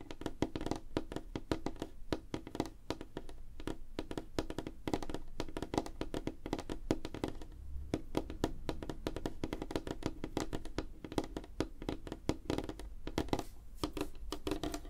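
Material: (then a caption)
Wood. Fingernails of both hands tap rapidly on a large, solid, flat, light-colored wooden or wood-laminate desk top. The result is a dense, continuous stream of short, dry clicks and thunks with a woody tone around 316 Hz and a strong low thump beneath. Each tap dies away almost at once.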